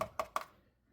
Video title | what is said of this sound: How to install aftermarket coilover for gen 1 Audi R8 | Over here it's hollow. You can hear the sound different.